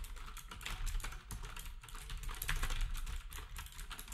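Fingertips type quickly on a black compact plastic typewriter-style keyboard with round plastic keycaps, while other nearby devices stay untouched. A steady stream of short, dry clicks overlaps into a continuous patter, each with a bright clack over a soft low thump and almost no ring.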